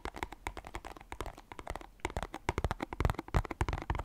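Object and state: Cardboard box.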